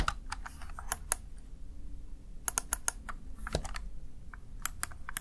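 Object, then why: Plastic gaming keypad keys. A small, hollow, backlit plastic Razer Tartarus Chroma gaming keypad has its keys tapped with fingertips and long nails in an irregular typing rhythm. Each press gives a short, dry, bright click that dies away almost at once, over a low, steady background rumble.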